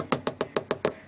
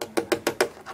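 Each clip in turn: First: Six quick, even taps on a metal controller casing, each a short, bright knock that stops almost at once. Second: Five quick, dry knocks with a hollow mid pitch near 370 Hz; a light plastic casing with no ring.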